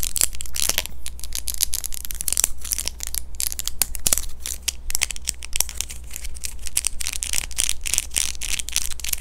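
A small, thin, hollow clear plastic dental aligner is held in both hands near the face and tapped and scratched with long fingernails. The result is a rapid, dense stream of crisp, bright clicks and scratchy crinkles that stop almost instantly, over a steady low hum.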